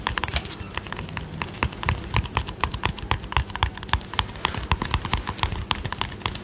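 A small, round, hollow yellow-green plastic cosmetic cream jar with a lid is held in both hands and tapped with painted fingernails around the lid and sides. The result is a quick, uneven run of short, dry clicking taps with sharp bright tops and a soft low knock beneath, each dying away almost instantly.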